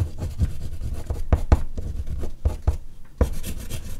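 An oil pastel stick is rubbed in quick strokes near the bottom of a large, flat sheet of artist's paper resting on a board. The result is a steady, dense scratchy rubbing with soft, dull thumps from the strokes. Its energy sits almost entirely in the low range, and each stroke dies away at once.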